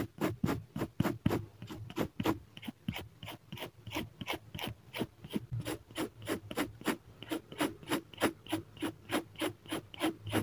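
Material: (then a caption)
Paper. A fine-tip felt pen held in the fingertips makes short hatching strokes on a sheet of drawing paper clipped flat to a solid-backed clipboard. About 35 quick, dry scratches follow one another at a brisk, slightly uneven pace, each a brief airy rasp with a low body and a bright, breathy top.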